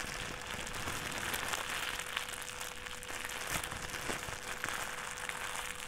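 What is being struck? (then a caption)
Thin plastic trash bag. A thin white plastic trash bag is balled up and crumpled repeatedly in both hands with the fingers. It makes a steady, dense crinkling and crackling that is bright and high, with small sharper snaps scattered throughout. A faint steady tone runs underneath the whole time.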